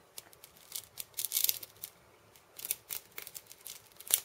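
A hand-held wooden cabasa, a wooden cylinder wrapped in steel ball chains, has its beads tapped and scratched with fingertips and nails. The result is a quiet, irregular run of bright, dry metallic ticks and rattling scrapes, with almost no low end and each sound dying away almost instantly.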